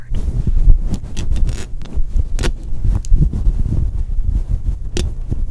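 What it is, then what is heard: Faux fur microphone windscreen being scratched. Long acrylic nails and fingertips scratch and rub a grey fluffy faux fur windscreen over a black microphone. The result is a fast, dense stream of low, muffled rustling and thumping with brief brighter scratches.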